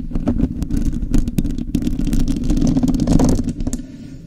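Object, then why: Metal mesh microphone grille. Long acrylic nails scratch and tap across the hollow black metal mesh grille of a large microphone. The result is a dense, rapid run of low, hollow, boomy scrapes and clicks with a steady tone around 260 Hz and short bright ticks on top. It holds fairly even, then thins out and fades near the end.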